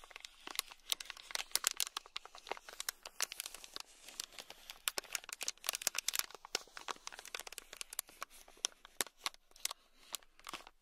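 A thin black stick scratches across a small, sealed, clear plastic bag packed full of tiny red beads. It makes a rapid run of crisp, bright crinkling and ticking scrapes that stop short with almost no ring and have almost no low end, over a quiet background.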